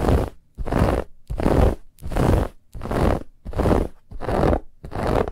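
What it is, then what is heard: Fabric pillow scratched with fingernails. Long fingernails scratch quickly across a soft, stuffed white fabric pillow with a woven textured band. Eight rough, scratchy bursts come in a steady rhythm, each a dense rasp with a heavy low rumble and a bright edge, separated by brief silences.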